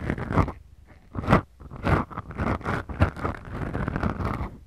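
Long acrylic nail tips scratch slowly across two small, soft, porous black foam windscreens on the mics of a Tascam recorder. The result is a close, muffled, crunchy rustling that comes in slow swelling strokes. The sound is heavy in the low end with little high brightness.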